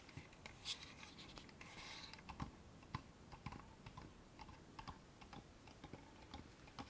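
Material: Wood.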